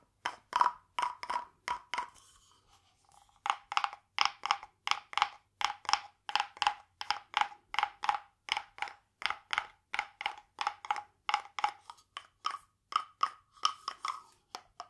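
A small hollow carved wooden frog guiro, painted glossy green with a ridged back, is held in one hand and rubbed and tapped along its ridges with a green wooden stick. It gives a quick series of short, dry, woody clicks and rasps with a hollow tone around 1 kHz and bright upper edges, pausing briefly near the start before continuing in an uneven rhythm. About forty separate strokes are heard, each dying away almost instantly.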